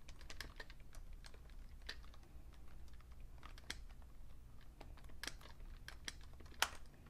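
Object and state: Plastic computer keyboard.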